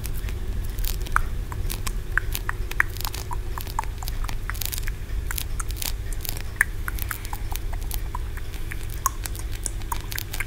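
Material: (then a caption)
Aventurine stone. Fingernails quickly scratch and tap the ridged tiers of a small solid green aventurine stone pagoda. The result is a rapid patter of short, bright clicks and scratchy ticks over a steady low hum.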